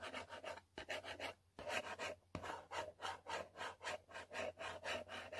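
A long pointed fingernail scratches back and forth over the printed text area of a yellow cardboard selfie stick box. About sixteen dry, raspy strokes follow in an uneven rhythm, each a short rubbing burst with a bright, papery hiss over a midrange body.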